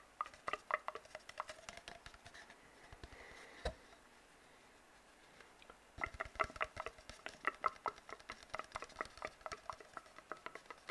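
An empty, hollow brown cardboard tube is tapped and scratched with fingertips and nails, producing quick, dry, hollow patters with a resonant mid-pitched ring. A brief soft scratch and a sharper tap come before a quiet pause of about two seconds, and then dense, rapid tapping returns until the end.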